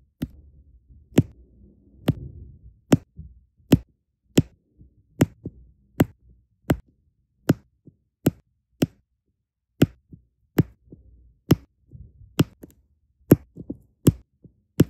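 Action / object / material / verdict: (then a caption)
tap / resin diamond painting drills on adhesive canvas / resin / none. Small solid resin rhinestone diamond painting drills are pressed one by one onto a sticky fabric canvas with the metal-ringed tip of a plastic drill pen. Nineteen light, evenly paced taps sound as short, dry clicks with a soft low thud and no ring. Faint rustling and handling noise fill the gaps between them.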